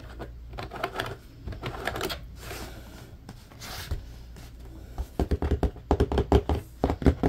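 Fingernails scratch and tap the bars of an empty, hollow, medium-sized blue plastic grid basket. Soft, dry scratching rustles for about five seconds, then quick, sharper taps click out in an uneven run, each stopping almost at once with a dull, low body.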